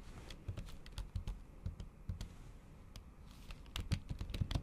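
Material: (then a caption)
Plastic. Long acrylic nails tap and type on a MacBook keyboard covered by a thin pink plastic or silicone keyboard cover. The result is a quick, irregular run of soft, dull clicks with low thuds and brief bright ticks that die away instantly, with louder bursts near the start and end.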